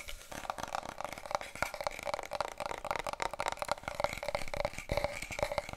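Long nails scratch and tap rapidly along a long, hollow, brown cardboard paper roll tube held diagonally. The result is a dense run of dry, crackly taps and scrapes with a hollow resonance near 580 Hz and a bright papery rasp.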